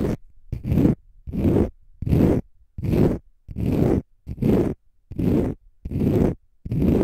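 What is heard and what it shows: Fingernails scratch a palm-sized, pale green konjac fiber facial sponge, solid and porous. Repeated, fairly regular rasping strokes with short pauses between them. The sound is deep and full-bodied, heavy in the low end.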